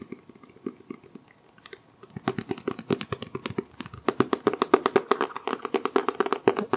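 Fingertips with short nails tap the dark green, cloth-textured cover of a medium-sized solid hardcover book held upright in both hands in front of a microphone. Soft, sparse taps in the first two seconds give way to louder, quicker, irregular tapping. The short, dry, muffled knocks grow densest and strongest in the last few seconds.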